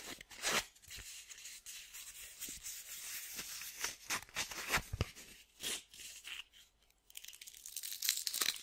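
A small, thin piece of red sandpaper is curled and crumpled between fingertips with painted nails, rubbing the paper backing and grit together. Bright, dry crinkles and scratchy, tearing-like rasps come in quick irregular bursts with little low end. The sound briefly falls quiet near seven seconds before a denser crackling returns.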